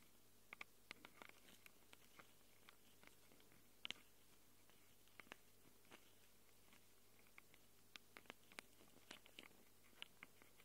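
Long acrylic nails scratch and tap the metal-rimmed microphone capsules of a small handheld Tascam recorder with a plastic body. About two dozen short, sharp, bright clicks and scratches come at irregular intervals, with tones around 2.9 kHz. They rise over a quiet, steady low hum and die away almost instantly.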